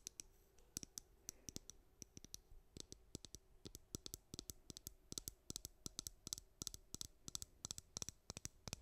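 Long nails scratch and pluck the bristles of a white plastic hairbrush and tap its back, making a rapid run of sharp, dry clicks. The clicks are bright and high-pitched, with no ring after each one, over a faint steady hiss.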